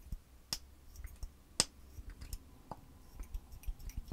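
Long white acrylic nails tap and click along a small clear plastic lip gloss tube with its applicator wand, held in both hands. Quick, dry, high clicks with almost no ring stand out over softer scattered taps and a faint low background hum.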